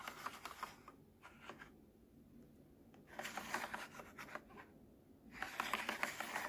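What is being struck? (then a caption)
Hard plastic gear wheels on a baby walker tray. A fingertip and nail tap and scratch the small yellow and orange hard plastic gear wheels set into a baby walker's plastic activity tray, possibly turning them. Quick, bright plastic clicks and dry scratchy rasps come in three busy bursts separated by near-silent pauses, with each tap dying away almost at once.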